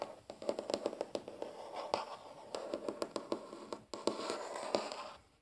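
A large, solid, flat wooden tabletop is rubbed and scratched with the fingertips and short nails of both hands. A quick run of dry, close scratches and light taps sits over a soft, continuous rubbing texture, with each sound stopping short with almost no ring. The tone is mostly midrange, with little deep low end and only a faint bright edge.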